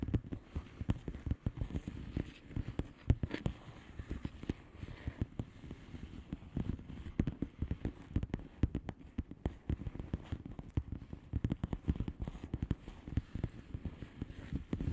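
Long fingernails on both hands tap quickly and continuously on the air-filled bubbles of a flat blue plastic bubble wrap envelope. Each tap is short and dull, with mostly low, soft thumps and almost no ring, forming a dense, uneven patter throughout.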